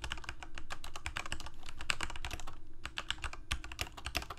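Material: Plastic.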